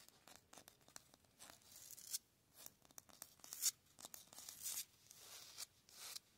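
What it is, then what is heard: Concrete block wall. Fingernails and fingertips quickly scratch and tap the rough face of a grey concrete cinder block wall with mortar joints, outdoors. Dry, bright scraping bursts alternate with short, sharp taps that stop dead with almost no ring. The sound is quiet, high and hissy, with no low end.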